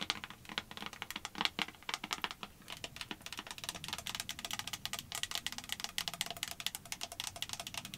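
Long white acrylic nails rapidly tap and scratch the sides of a small clear plastic hand sanitizer bottle with a pump cap and a label, apparently filled with gel, held up close. The result is a quiet, steady stream of crisp, bright clicks and scrapes centered around 3.3 kHz, each dying away almost instantly, with very little low end.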